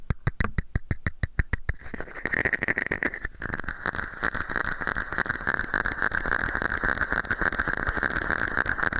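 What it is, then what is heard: Empty plastic cup. A small, hollow, empty red-and-white plastic cup held over a microphone is tapped with fingertips and nails. It starts with about a dozen evenly spaced, dull, hollow taps, then turns into a fast, continuous patter of clicks and scratchy nail taps with a bright plastic ring.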